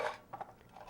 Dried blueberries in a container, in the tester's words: Berries should be dried until they rattle when shaken. I have some blueberries here and you can really hear how they're rattling.